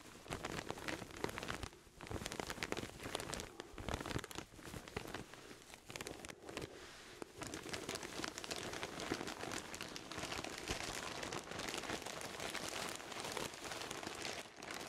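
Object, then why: Pillow in a thin plastic bag. A pillow in a thin clear plastic bag, held close to the microphones, is rubbed and squeezed with fingertips. It gives a dense, continuous crinkling and crackling of plastic, bright and full across the range, with brief quieter dips between bursts.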